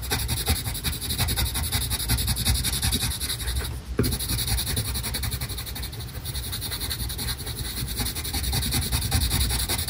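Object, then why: Colored pencil on paper. A green colored pencil rubs rapidly back and forth across the background area of a flat paper coloring page. It makes a continuous, scratchy, rhythmic rasping with a low rumble and a bright hiss, dipping briefly near the middle before resuming.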